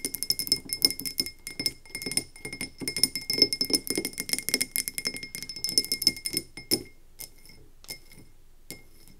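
Long nails tap quickly on the sides of a medium frosted glass candle tumbler with an ombre finish and a paper label, filled with wax and standing on a wooden table. The dense run of sharp, bright clicks has a short high glassy ring. After about seven seconds it thins to a few scattered taps, then quiet.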